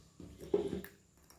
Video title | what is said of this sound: Review Senter XHP 70.2 80.000 lumen paling terang | kalau diketuk gini itu kayak kopong gitu, jadi ada getar-getarnya, ada gema-gemanya